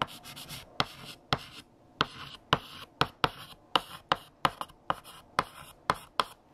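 A hand writes with light green chalk on a large, flat black chalkboard, the chalk scratching across the board in short, bright strokes. Fifteen sharp chalk taps stand out among softer scraping between strokes, each dying away almost instantly.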